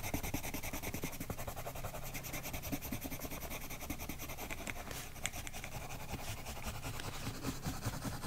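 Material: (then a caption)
Paper. A colored pencil held in a silver metal extender colors a thin flamingo-pattern page of an adult coloring book resting on a woven mat. Quick, short rubbing and scratching strokes repeat steadily, giving a dry, papery rasp with a soft low rumble beneath brighter scratchy detail.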